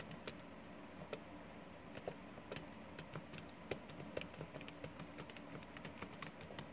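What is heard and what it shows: Fingertips and nails of both hands rapidly press and tap the plastic keys of a small, hollow blue plastic scientific calculator lying on a wooden desk. The result is a quick, uneven run of short, dry clicks with bright, sharp attacks that die away almost at once, over a steady low background hum.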